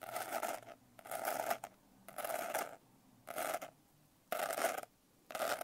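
Long nails scratch quickly over the rough glitter texture of a closed blue glitter-covered hardcover notebook. Six separate bursts of dry, bright rasping are heard, each centered around a mid tone near 690 Hz with a hissy high edge. Short quiet gaps fall between the bursts.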